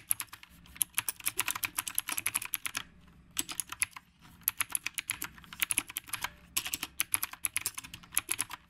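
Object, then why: Mechanical keyboard with round plastic keycaps. Fingertips type on the round plastic keycaps of a retro typewriter-style mechanical keyboard. Bursts of fast, bright, crisp clicks are heard, broken by short pauses near 3 and 6.5 seconds. Each keystroke is sharp with almost no ring, leaving a quiet, dry background between strokes.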